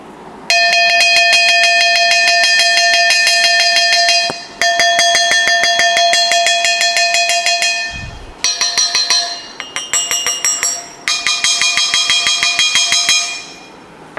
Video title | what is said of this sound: CHOÉ MEN LAM VẼ TAY MẪU CHIM CÔNG HOA ĐÀO ĐẸP - GỐM SỨ BÁT TRÀNG | cái âm thanh nó kêu đanh như thế này ấy thì tất nhiên là cái đất ấy cái đất sẽ phải là đất được nghiền nhỏ